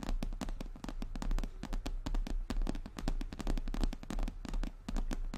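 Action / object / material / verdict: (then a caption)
tap / embossed leather handbag / leather / none. Long nails on both hands tap quickly across a brown, glossy, croc-embossed leather handbag of medium size and hollow body. The result is a dense stream of rapid, crisp clicks over a deep, hollow thud. Each tap dies away almost instantly.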